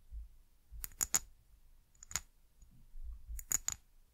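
A small brown glass bottle with a white cap, held sideways, is tapped with long nails, giving eight short, bright clicks in three quick clusters. Each tap has a high glassy ping that dies away almost at once over a faint low rumble.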